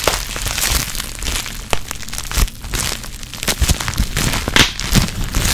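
A small crumpled piece of clear plastic air-bubble wrap is held near the mic while fingers and long nails squeeze and pop the bubbles. Continuous bright crinkling and crackling are punctuated by sharp pops and snaps, over a low handling rumble close to the mic.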